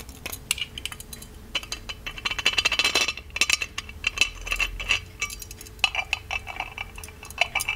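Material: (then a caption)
Plated metal. Fingertips tap the spout and the lid of a small, ornate, hollow gold-plated metal genie lamp. The result is a rapid series of light, bright metallic clinks, each with a short ring near 2.6 kHz that fades almost instantly, over a quiet background.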